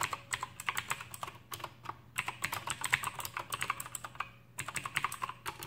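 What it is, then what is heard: Clicky mechanical keyboard. Both hands type with fingertips on an Aukey KM-G6 full-size backlit mechanical keyboard with plastic keycaps and clicky Outemu blue switches. The result is a rapid, uneven run of sharp, bright clicks. A few short pauses break up the dense bursts of keystrokes.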